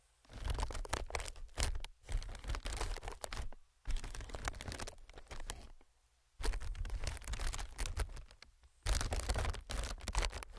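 Fingertips tap and scratch the surface of a clear, hollow, inflated plastic-film air packing pillow. The sound comes in dense bursts of soft, low thumps mixed with crinkly, bright scratching, separated by brief quiet pauses.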